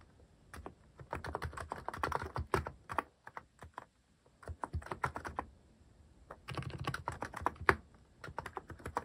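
Fingertips type on a cream plastic-cased mechanical keyboard fitted with cat-themed plastic keycaps. Quick runs of short, dry clacks with a soft low thock come in bursts, separated by brief pauses. Each keystroke dies away almost instantly.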